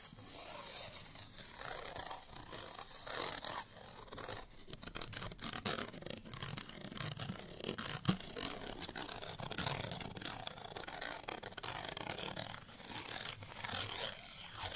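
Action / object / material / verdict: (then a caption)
scrape / small cardstock paper tag / cardstock / none. A small cardstock paper tag with a string is held in the hand and scratched with fingernails. The result is a steady, dry, papery scratching with a bright, hissy texture that swells and fades in uneven bursts, over a faint low rumble.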